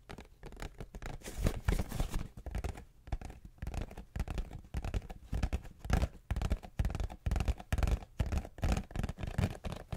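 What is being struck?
Cardboard tissue box.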